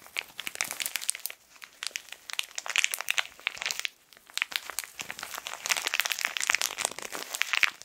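A small, colorful plastic-wrapped tissue packet is squeezed and twisted, its film crinkled with the fingertips. Dense, bright, crackling crinkles come in bursts with short lulls near 1.5 and 4 seconds, with no low-end body and no ring after each snap.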